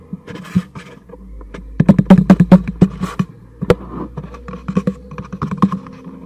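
A hollow black cardboard packaging box, held upright, is tapped and knocked with fingertips on its face and sides. The result is an irregular run of quick, dull, hollow thumps with a low resonant body and almost no ring. The taps bunch into a louder, faster flurry partway through, then continue more softly.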